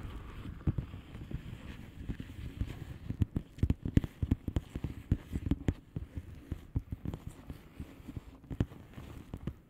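Long polished nails on both hands tap the bubbles of a flat, hollow plastic bubble-wrap mailer lying on a surface. The result is a quiet, irregular patter of short, dry, dull taps with a low, thumpy body and almost no ring.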